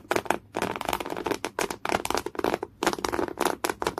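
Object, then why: Coarse woven cotton canvas cloth. Fingernails scratch hard across folded, thick beige coarse woven cotton canvas cloth. The result is a run of rough, crackly strokes with a bright, broadband texture, broken by short silent pauses. The strokes come in quick bursts of rapid scrapes.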